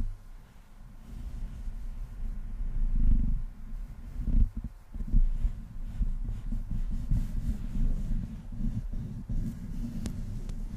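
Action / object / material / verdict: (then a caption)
scrape / metal mesh microphone grille / metal mesh / none. Fingertips and palms rub the metal mesh grille of a large black Blue Yeti-style studio microphone while long painted nails brush across it. The result is a deep, muffled rumbling, almost entirely low-pitched, that swells and fades with the strokes, with a few louder thumps near the middle and a faint high tick near the end.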